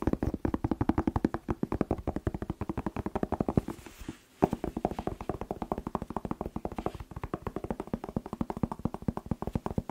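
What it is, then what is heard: Bell pepper tapped. Fast fingertip tapping on a bell pepper (paprika) produces a dense run of short, dull, hollow taps with a low body, each dying away almost instantly. The taps come in a steady stream with a brief pause around the middle before the rapid tapping resumes.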